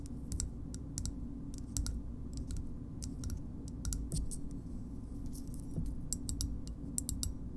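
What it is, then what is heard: Plastic shoehorn tapped with fingernails. A small, hard green plastic shoehorn is tapped with long nails, giving quick, bright, dry clicks that die away almost instantly. The taps come in irregular bursts over a steady low hum.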